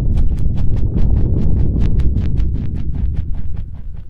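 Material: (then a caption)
Silicone. Fingertips of both hands continuously tap and press into the ear holes of white and pink silicone ear pieces on a dark binaural microphone body. The result is a rapid, uneven run of deep, muffled thumps with a clip-clop feel, each carrying a brief bright click.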